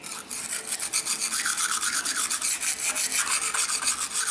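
A large steel kitchen knife is stroked back and forth across a solid dark rectangular whetstone resting on a tiled floor, with fingertips pressing on the blade. This produces a steady run of bright, hissing rasps of steel on stone, one close after another, with almost no low end.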